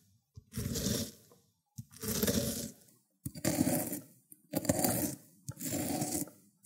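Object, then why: Cucumber on ceramic grater plate. A cucumber is grated on a small round white ceramic grater dish, leaving wet pulp. Five drawn-out, wet scraping strokes are heard, each starting with a faint click and separated by short silences, with a low, full body and a bright, hissing top.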